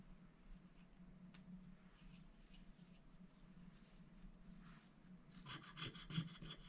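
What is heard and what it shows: A wooden stylus scratches the coating off a thin, black-coated scratch-art paper sticker sheet in small strokes while one hand holds the sheet flat on a glass plate. Quiet, dry rasping strokes run over a steady low hum. Near the end the strokes turn brighter, denser and louder.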